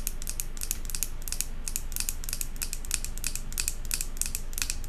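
Long acrylic nails tap fast on the glass side of a large glass jar candle filled with solid white wax and topped with a silver metal lid. The result is a rapid, slightly uneven stream of sharp, bright clicks that die away almost instantly, over a steady low rumble.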